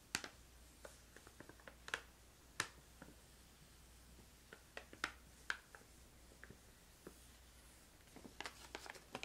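Long painted nails scratch and tap the front of a filled, medium-sized printed plastic pouch of crystallized ginger held in the hand, with some crinkling. Quiet, sharp, bright clicks and taps come in scattered clusters, with soft crinkles between them, over a faint low hum.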